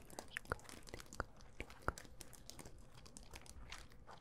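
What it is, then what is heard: Mirror-tile disco ball. A small hand-held disco ball, about palm-to-grapefruit size and covered in small glass mirror tiles, likely over a hollow or foam core, is held in one hand and tapped and scratched across its tiles with long acrylic nails. Quiet, irregular crunchy clicks and scratchy crinkles run throughout, with a few sharper, brighter taps standing out above the soft texture.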